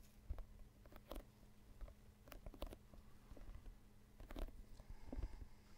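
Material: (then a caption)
Synthetic leather. An inflated, hollow synthetic leather soccer ball is held in both hands close to a microphone while fingertips and nails tap and scratch its panels. Soft, dull, low thumps come at an uneven pace, mixed with short, crisp scratching bursts over a faint steady hum.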